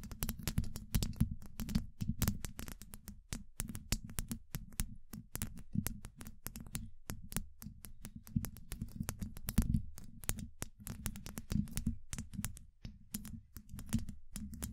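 Long acrylic nail tips tap quickly on a hollow, domed steel mesh microphone grille, producing a dense run of rapid, sharp clicks with bright crisp edges. Each tap lands with a deep, boomy low thump and dies away almost instantly, the taps varying in strength throughout.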